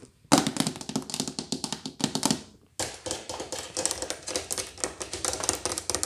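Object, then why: Hard-shell plastic suitcase. Long painted fingernails and fingertips tap and scratch a large black, hollow hard-shell plastic suitcase with a textured shell, first on the shell and then on the plastic carry handle near its combination lock. Rapid, bright clicking taps carry a short, hollow body tone, with a brief pause before a second, denser run of quick taps and scratches.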